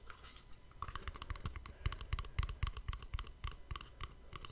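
A small, hollow white cardboard gift box is held beside a microphone and scratched and tapped with the fingernails along its sides and edges. Quick, uneven taps of roughly four per second come through as dull, low thumps layered with crisp, bright scratchy clicks. Each tap dies away almost instantly, with a soft scratching hiss between them.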